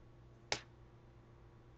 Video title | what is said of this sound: Sound Wave Lab | hear just a sharp metallic sound